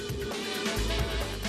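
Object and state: Nothing is struck.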